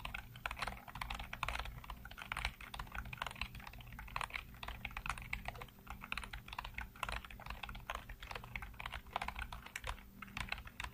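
Fingertips rapidly tap and type on a full-size black plastic computer keyboard with hollow keycaps. A dense, continuous stream of short, crisp plastic clicks with a bright edge runs over a steady low hum.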